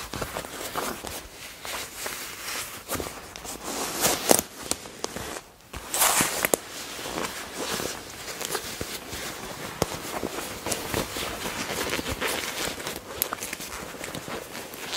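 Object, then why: Leather jacket. Fingertips and long nails grip, squeeze and scrunch the sleeve and front panel of a black leather jacket, likely faux, a flexible hollow garment. A steady run of bright, crinkly creaks and rustles comes with sharper snaps here and there, with a brief quiet lull just before the middle.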